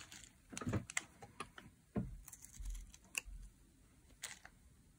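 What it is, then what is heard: Dry soap bar being carved. A metal utility blade carves curls off the edge of a solid teal dry soap bar held in the hand. Short, dry, crisp scraping ticks come in uneven clusters, with soft low thumps underneath and a bright, papery edge on the sharper cuts, each ending almost instantly.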